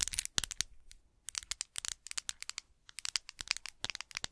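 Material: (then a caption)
Glass. Long acrylic nails tap and scratch a small, hollow, apparently empty clear glass bottle held in both hands close to the microphone. The result is a rapid, uneven series of bright, high-pitched clinks and clicks with almost no low end. Each tick dies away almost instantly, with short pauses between bursts.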